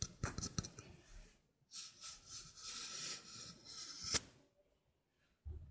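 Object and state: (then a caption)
Stainless steel mesh sink strainer. A small hollow stainless steel mesh sink strainer with a flat rim is held in the hand and scratched across its mesh with long painted nails. Quick metallic taps open the clip, then give way to a long, bright, hissing scrape with a sharp click near the end. A brief low knock follows after a pause.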